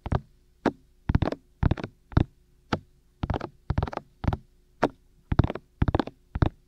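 Fingertips with short nails tap and cup both white, hollow, ear-shaped silicone ears of a black 3Dio binaural microphone mounted on a tripod. Thirteen bursts of soft, dull, low thumps come in an uneven rhythm, some as single taps and others as quick flurries. Each tap dies away almost instantly, leaving a faint low hum between bursts.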